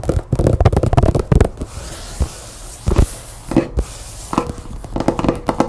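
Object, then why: Glossy paper magazine tapped and scratched with fingernails. Long painted nails tap and scratch the cover of a closed glossy paper magazine lying on a table. A fast flurry of dull, low, papery taps opens the clip, then settles into a soft scratching hush broken by a few isolated taps. Another quick burst of tapping comes near the end.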